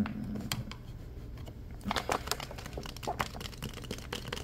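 A clear plastic water bottle with a cap, partly filled with water, is held in the hands and tapped and scratched with the fingertips. Fast, crisp taps mix with dry, crinkly scratching that grows busier and louder in the second half. Each tap stops almost at once, with no ring.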